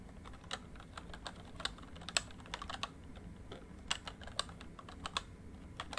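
Fingertips type on a full-size plastic MSI backlit membrane keyboard, producing a steady run of short, dry key taps. The taps are bright and clicky with very little ring, and a few land noticeably louder than the rest.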